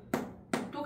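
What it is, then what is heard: Ripe jackfruit. Someone flicks a ripe jackfruit with soft skin, testing its ripeness by sound. Two sharp, dull slapping taps sound about 0.4 seconds apart, followed by a quieter bright tick at the very end. The flat "thas thas" slap marks the fruit as ripe, where a hard-skinned fruit would give a "dhop dhop" sound.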